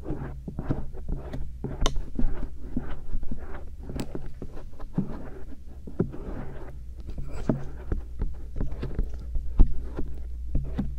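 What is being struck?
Silicone ear on a microphone, stainless steel earpick.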